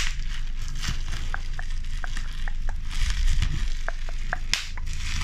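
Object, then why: Plastic bubble wrap. A bunch of clear plastic bubble wrap is held close to the microphone and squeezed, its air bubbles pressed and popped by fingertips and nails. Sharp, irregular little pops with a short tonal snap ring out over a steady crinkling rustle and a low, muffled rumble of handling.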